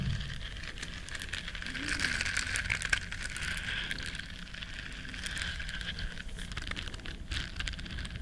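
Long nails scratch and rub the bristles of a small, flat, solid yellow silicone scrubber shaped like a duck. The result is a steady, dense crackle of fine scratching and rustling, bright and hissy with a focus around 1.6 kHz over a soft low rumble, holding an even level throughout.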